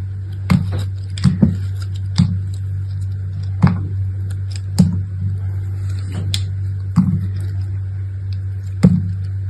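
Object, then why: Chunk of soap. A metal box-cutter blade with an orange handle slices and scrapes a solid, fist-sized chunk of pastel multicolored soap with a dark outer layer, held in the hand. It makes short, crisp cutting and scraping strokes at irregular intervals, each with a bright edge. A steady low hum runs underneath as the soap comes away in flakes.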